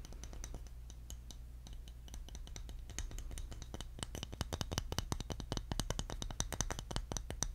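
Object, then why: Round bamboo lid. A palm-sized, solid round bamboo lid with an engraved logo, held in one hand and tapped with the fingernails of the other, gives quick, dry, sharp clicking taps. The taps grow louder and denser over the second half. A steady low hum runs underneath throughout.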